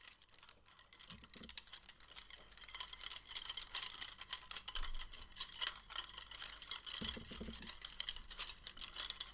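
A bundle of thin, solid, patterned wooden chopsticks is held in both hands and rubbed and rolled together with the fingertips. The result is a quiet, continuous stream of dense, bright clicking and rattling wood-on-wood ticks with very short decay, plus a few faint low thumps near the start and toward the end.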